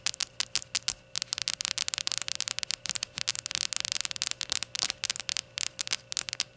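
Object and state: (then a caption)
Ceramic shot glass. Long gold nails tap all around a small, hollow, glazed ceramic rainbow shot glass standing upright on a towel. The result is a quick, irregular stream of sharp, bright clicks with almost no ring and no low end, over a faint steady hiss.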